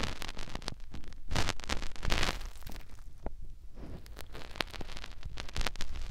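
Fingertips rub and poke into the ear canal of a white silicone ear mounted on a white plastic binaural microphone housing. The result is close, muffled low rumbling and scratchy rubbing, broken up by many short, crackly taps and pops that flash bright.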